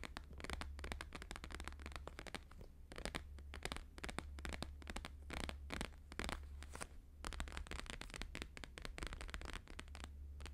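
Both hands tap fast with fingertips and nails on a thin, flexible, flat square sheet of plastic-laminated holographic paper lying on a fur rug. The result is a dense stream of crisp, crackly, papery clicks that stop almost instantly, with a steady low hum underneath.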